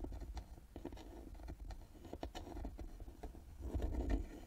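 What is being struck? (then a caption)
Carved wooden box with metal plaque. Long nails scratch and tap on the carved lid and metal plaque of a small hollow carved wooden box resting on a table. Soft, dry taps and scratchy rubbing sound close and low, each tap dying away almost at once, with a fuller cluster of scratching near the end.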